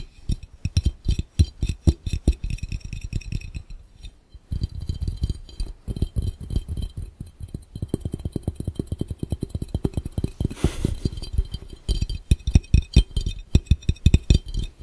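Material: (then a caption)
Glass. Both hands' fingertips tap quickly on a clear, round, hollow and empty glass fishbowl. The taps are dense, short thuds with a deep low body and a faint bright clink. They come in rapid bursts with a brief pause near four seconds.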